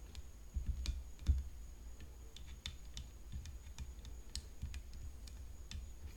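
Long fingernails tap the frame of a tennis racket, making quick, dry clicks with bright, short-lived ticks. The taps come in an irregular run over a constant low rumble and a faint steady high whine.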